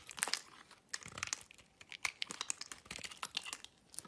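A metal utility knife blade scrapes a solid orange-and-white striped bar of soap held in the hand. The sound is a quiet, irregular run of crisp, bright scratching and crumbling flakes with short clustered bursts and almost no low end.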